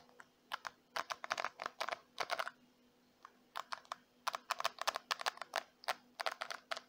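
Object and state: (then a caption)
Plastic hairbrush tapped with nails. Long white-painted nails tap the smooth plastic back of a small, handheld, hollow-backed purple plastic detangling brush, and scratch and flick its black plastic bristles, with hair possibly brushing the bristles at moments. The result is quick, dry, bright clicks and ticks in rapid bursts, with about thirty short hits separated by a quiet gap in the middle. A faint steady low hum sits underneath.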